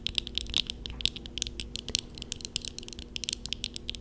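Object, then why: Plastic and metal eyeglass frames. Eyeglasses worn on the face, with a black plastic upper frame and thin metal rims and lenses, are tapped quickly with the long fingernails of both hands. Over four seconds, roughly two dozen sharp, bright clicks come in an uneven patter, each dying away almost instantly. A faint steady low hum sits underneath.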